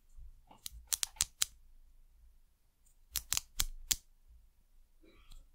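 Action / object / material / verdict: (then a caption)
tap / ridged plastic bottle cap / plastic / none. Long nails scratch and tap a white ridged plastic cap on a small amber glass bottle. Nine sharp, bright clicks come in two clusters, five and then four, over a faint scratchy rustle. A softer scratch follows near the end.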